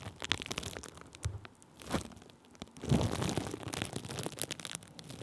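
Thin clear plastic bubble wrap stretched over a microphone is rubbed and pressed with a wooden stick held in the fingers. It produces dense crinkling and crackling, with bright snaps over a low, thumpy rumble and louder swells near 1.3, 2 and 3 seconds.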